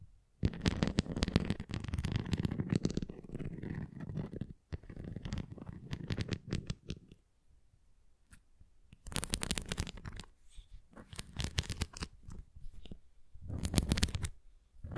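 Long nails tap and scratch a red plastic flying disc toy held flat and edge-on. Dense bursts of low, rumbling scratching alternate with short quiet pauses, and the later bursts turn brighter and crisper.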